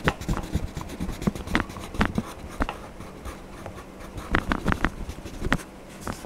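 A yellow wax crayon is rubbed back and forth across the Donald Duck page of an open paper coloring book lying flat on a desk. The clip has soft, dry scratching and rubbing strokes that come in uneven bursts, with brief sharper scrapes over a low, quiet background.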